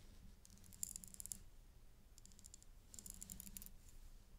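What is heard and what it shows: A thin black stick held in a white-gloved hand taps a small, solid necklace lying flat on a dark cloth: a thin metal chain with a rhinestone flower pendant made of a front cluster of leaf-shaped rhinestone settings. Quiet, quick, bright metallic clicks come in two clusters, with fainter taps between them, over a low background hum.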